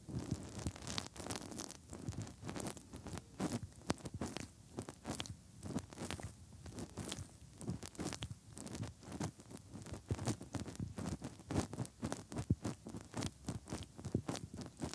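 Fingertips held in the hollow ear canals of the soft silicone ears on a 3Dio binaural microphone rub continuously, making close, muffled scratching and rubbing. Dense, rapid bursts come in a steady stream with heavy low-end rumble and brief bright crackles, with no ringing between them.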